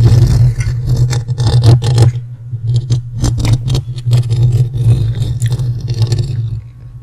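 Fingertips and short nails scratch and rub the hollow metal mesh grille of a large dark USB condenser microphone while both hands cup its end, with rings on the fingers possibly adding small metal clicks. Bursts of bright, crackly scraping rise and fall over a steady low hum. The rubbing thins out and fades quieter toward the end.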